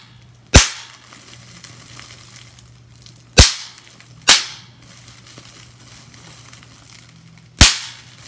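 Fingers squeeze a clear plastic bubble wrap sheet, popping its bubbles. Four sharp, bright pops ring out at uneven intervals, each fading quickly over a quiet background with a faint low hum.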